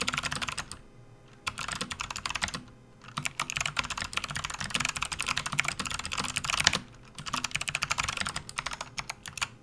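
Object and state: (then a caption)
Plastic membrane keyboard, typing. Both hands type fast with their fingertips on a full-size, RGB-backlit plastic membrane gaming keyboard resting on a desk mat. Dense bursts of bright, short clacks and taps are broken by a few brief pauses, and there is little low-end thump.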